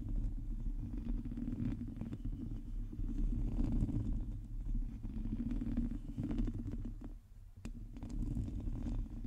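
Long teal nails of both hands cup the head of a black microphone and scratch its hollow domed metal mesh grille. The result is a steady, muffled, low rumbling scratch, with a thin bright scrape riding on top. It dips briefly near the end before resuming.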